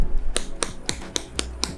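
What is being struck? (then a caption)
Plastic smartphone back cover. Knocks on the plastic back cover of an Infinix Hot 11 smartphone. About seven short, dry taps sound across the clip, each a brief click with almost no ring.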